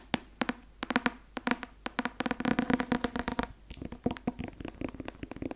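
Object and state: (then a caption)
Paperback textbook tapped and scratched. A thick paperback law textbook with a white and blue card cover and a solid paper block is held in the hands and tapped and scratched on its cover and spine with fingertips and nails. The result is quick, dry, close taps with very short ring and a papery body around 240 Hz. The taps come as scattered single hits and bursts of rapid tapping, with bright scratchy edges.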